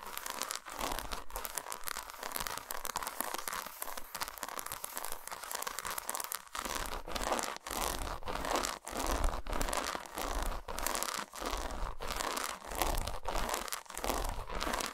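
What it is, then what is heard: Dark chocolate bar. Long nails scratch and tap the patterned squares of an unwrapped solid dark chocolate bar standing vertical on a towel. Dense, bright, crackly scratching runs in short bursts broken by brief dips, with quick dry taps and no ringing.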